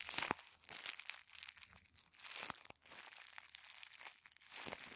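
Fingertips squeeze and crinkle a small folded packet of thin white tissue paper. It makes soft, bright, crisp crackling rustles in quick irregular bursts, with almost no low end and no ring after each crinkle.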